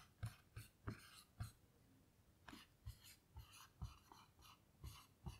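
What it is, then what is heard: Marker writing on a small melamine whiteboard. A blue dry-erase marker writes large letters on a small melamine lap whiteboard lying flat. Short, rasping strokes come in quick bursts, each with a dull low thud and a brief bright scratch. Quiet pauses separate them.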